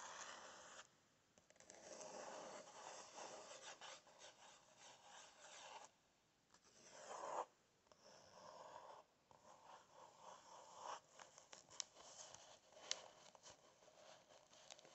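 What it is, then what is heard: Paper book pages being scratched. Fingertips and nails scratch and rub across the printed paper pages of an open book, making a dry, hissing rasp in several sustained passes separated by brief quiet pauses. A few sharp ticks of a nail catching the paper stand out near the end.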